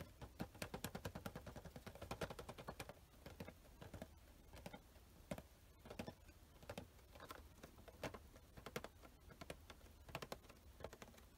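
A small cardboard Star Wars Luke Skywalker Funko Pop box with a plastic window, held in one hand, is tapped quickly with fingertips and nails, first on its printed back and then on the windowed front with the figure inside. Dense bursts of short, dry, clicky taps with almost no ring come fastest and loudest in the first few seconds, then continue in quieter, sparser clusters.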